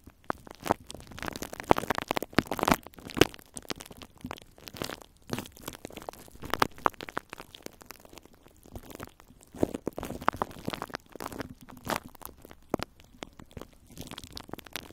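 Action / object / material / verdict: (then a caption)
scrape / plastic cling film over a metal microphone grille / plastic film / none. Long nails of both hands scratch and crinkle clear plastic cling film wrapped over a metal microphone grille. The result is a close, dense stream of crackling, crinkling and scratchy bursts, with short sharp clicks spread across the whole range and brief quieter gaps between flurries.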